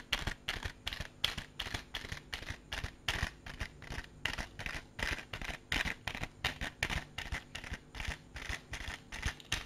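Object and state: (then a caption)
Clear plastic compartment case. A small, hollow, clear plastic case with compartments is held in the hand and tapped and scratched with fingertips and nails. The result is a steady run of quick, dry, bright clicks and scratchy rasps, each dying out almost instantly, with a crisp tone around 3.3 kHz and a soft low thump under each tap.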